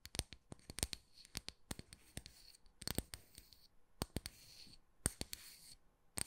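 Long nails scratch and tap the cut face of a round, solid slice of tree trunk with a bark edge and visible growth rings, held in one hand. Quiet, dry, sharp clicks come in an irregular rapid series, with bright scratchy rasping between them, and each tap dies away almost instantly.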